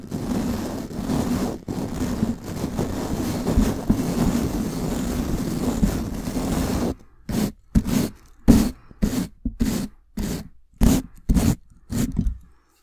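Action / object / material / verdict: scrape / hair brush with wooden handle and bristles / bristle / none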